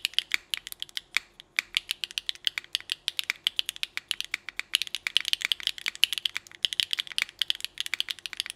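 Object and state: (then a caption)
Mechanical keyboard with ABS keycaps. Both hands type continuously with their fingertips on a small mechanical keyboard with rainbow ABS keycaps and an aluminum plate. The result is a steady run of sharp, bright clicks and clacks with almost no low end. The keystrokes come in quick clusters, with a brief pause near the start.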